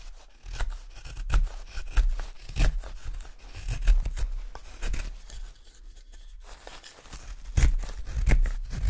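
A small carving knife whittles along the neck and handle of a pale solid wood spoon blank held in one hand, scraping off wood shavings. Short, irregular scraping and slicing strokes come in uneven bursts, each with a bright crisp edge over a dull low thump, with a brief quieter stretch midway.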